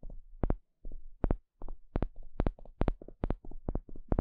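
A small plastic pick pokes and scratches a flat, thin, solid wooden spatula-shaped stick. It makes a quick, uneven run of short, dull taps with soft scratchy edges. The sound is mostly low and deep, with no ring between touches.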